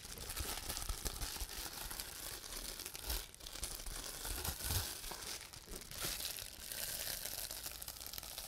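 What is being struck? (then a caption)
Plastic bubble wrap sheet. A sheet of clear plastic bubble wrap is held in the hands while fingertips squeeze and pop the air bubbles and crinkle the sheet. A steady, bright crinkling and crackling runs throughout, with small pops and soft low bumps rising and falling in loudness.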